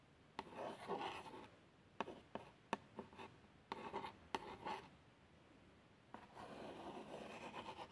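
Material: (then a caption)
Cardboard. A long fingernail traces the x100 badge and the plaster outline on a small, hollow, printed cardboard box of plasters. Soft, papery scratching and rubbing strokes are broken by eight sharp, brief clicks, with quiet pauses between passes and a longer stretch of tracing at the end.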